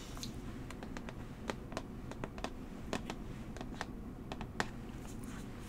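Long manicured nails tap and trace a small, hollow, tall rectangular brown cardboard box for Coola tan lotion held in one hand. Quick, dry clicks rise sharply and die out almost at once, scattered irregularly over a steady low rumble.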